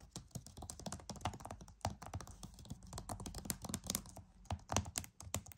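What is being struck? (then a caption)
Plastic game case. Fingernails tap rapidly on the front cover of a flat, hollow plastic PS5 game case. The result is a quick, uneven stream of dry, clicky taps with a low hollow thump under bright ticks, each dying away almost instantly.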